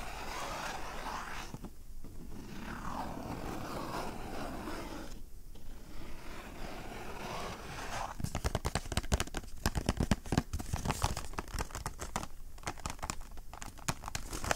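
Fingernails scratch the sides and face of a small, hollow navy Tommy Hilfiger cardboard cologne box held close to the microphones. Steady, dry scratching with two brief pauses gives way to quicker, sharper strokes and flicks that crackle brightly against a low, papery rumble.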